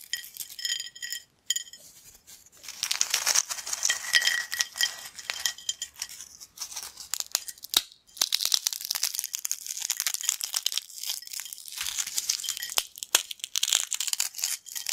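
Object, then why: Corn snack chips crushed between fingers. Triangular, hollow, crunchy yellow corn snack chips on a black plate are crushed and broken into crumbs between fingertips and nails. Dense, bright crackling and crinkling snaps come in rapid bursts with almost no low end, pausing briefly near the start and just before the midpoint.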